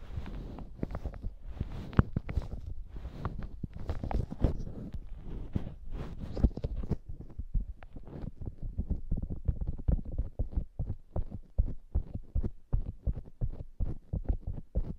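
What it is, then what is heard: Soft foam squishy toy scratched and tapped. Long acrylic nails scratch and tap the top of a soft polyurethane foam squishy hamburger toy with a glittery bun. The first half is a dense, soft scratching rustle; it then shifts to a quick series of dull, muffled taps with very little ring.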